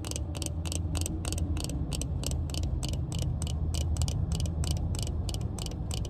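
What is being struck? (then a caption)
Plastic sunglasses frame. Long red nails tap quickly and steadily on the frame of black plastic-frame sunglasses held in the hand. They make a run of short, bright clicks over a constant deep low rumble that dominates the sound.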